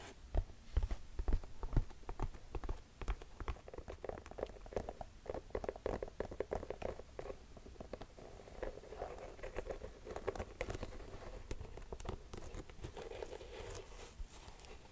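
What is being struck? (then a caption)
Mesh and rubber sneaker. Long nails tap and scratch the patterned white rubber tread sole of an empty black mesh sneaker, then move to its mesh upper. Quick, irregular soft taps with short, dull decay mix with a steady low scratching rustle, all at a quiet level.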